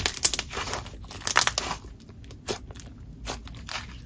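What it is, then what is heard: Butter slime. Lavender butter slime is squeezed in both hands, stretched into a wide sheet and pressed flat with the fingertips. This gives a run of soft, crackly, bright squelches and crinkling pops at an irregular pace, with a quiet background between them.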